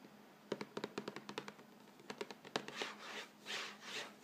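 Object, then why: Thin cardboard box of crackers. Fingertips and nails scratch and rub the front panel of an upright Vegetable Thins crackers box, a hollow, thin printed cardboard box filled with crackers. About fifteen quick, dry, papery taps and scratches come first, followed by a few longer, bright, hissy rubbing swells across the panel.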